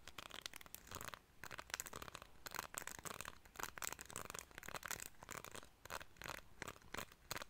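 A small, solid cream plastic hair comb with fine teeth is held in both hands while fingertips and nails strum and scratch along its teeth. The result is quiet, bright, crackly rasps and rapid clicks that come in bursts with brief pauses between them. Each click dies away at once, with no ringing.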